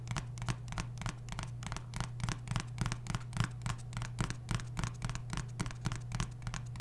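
A medium hollow blue cardboard glasses mailer box printed "Happy to See You" is held open over the microphone while fingertips and nails rub and scratch its flaps and sides. Quick, irregular dry scratching strokes repeat at roughly three per second over a steady low hum near 113 Hz, each stroke dying away almost at once.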